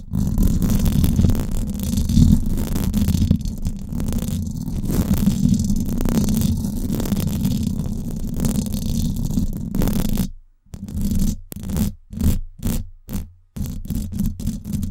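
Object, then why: Steel wire-mesh microphone grille. Long black and glitter acrylic nails scratch and tap the hollow, domed steel wire-mesh grille of a Blue Yeti USB microphone. A dense, low, rumbling scratch runs steadily for about ten seconds, then breaks into short separate bursts with brief silences between them before the continuous scraping resumes.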